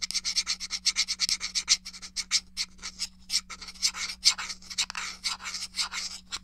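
Fingernails scratch along the casing edge of a small, hollow, grey plastic SNES game controller held edge-on. About 32 quick, bright, raspy strokes come in a steady rhythm over a faint low hum.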